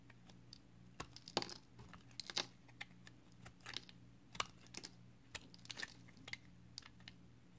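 A box cutter blade shaves the face of a solid, palm-sized, green flower-shaped soap held in one hand. Irregular short, crisp scrapes and clicks with bright, high edges pop out over a steady low hum, each one dying away almost at once.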